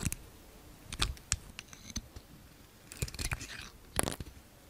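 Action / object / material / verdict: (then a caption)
scrape / bar of soap cut with a knife / soap / none. A yellow utility knife slices thin pink curls off the surface of a solid, gold-coated Palmolive bar soap held in the hand. Short, crisp scraping cuts with bright hiss and a soft low thud come in quick bursts separated by quiet pauses, each stopping dead with almost no ring.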